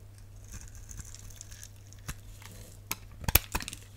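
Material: Glycerin soap.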